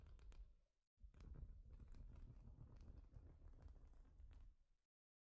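Long nails tap and scratch rapidly across a large, flat plastic Lego-style studded baseplate. A short burst of soft clicks is followed by a brief silence, then about four seconds of dense, irregular patter with muffled low thuds and faint bright ticks before it stops.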